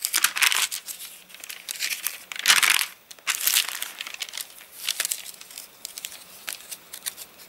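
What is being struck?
Paper catalogue pages.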